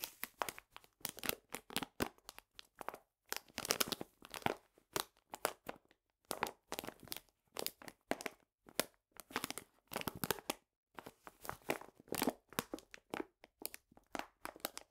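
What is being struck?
Paper bag of granular sugar.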